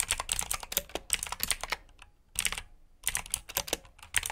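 Fingertips type on a black plastic backlit mechanical keyboard with blue switches, producing rapid, bright clicky keystrokes. The keystrokes come in bursts, with a brief pause near the middle. Each click stops almost instantly, with little low end.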